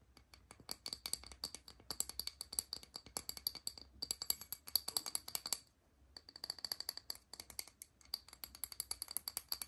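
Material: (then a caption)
Porcelain. A small, thin, solid white fluted porcelain saucer is held in hand while long nails tap and scratch its underside and top surface. The result is rapid, dense bursts of crisp, bright clicks with a high ringing tone and almost no low end, broken by brief pauses.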